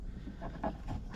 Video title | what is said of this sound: Paracord Storage with a Secret Inside – You Gotta See This Hack | And if I shake it, there's no rattle.